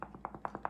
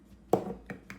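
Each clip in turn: First: unsealed canning jar lid. Second: sealed jar lid.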